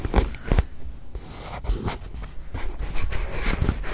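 A small white padded faux-leather watch pillow, soft, stuffed and not hollow, is held upright in front of a microphone and tapped and scratched with long white nails and fingertips. Dull, low, muffled taps fall at an uneven pace over a soft, continuous scratching and brushing. The taps stop quickly, with almost no ring.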